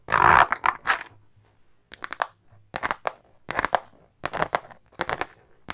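A silver star-print metallic faux-leather makeup bag, soft and hollow, is held while long nails scratch and tap its synthetic surface. Short, crisp bursts of rustling and tapping come in clusters separated by quiet gaps, with a bright, crackly texture centered in the mids and little low end.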